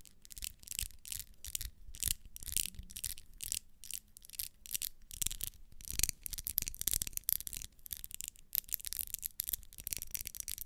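A small, solid pink wax pillar candle with vertical ribs is held in the hand while long nails scratch and rub along its ribbed surface. The result is a quiet, steady run of short, dry, bright scratching strokes, with a soft low rumble underneath.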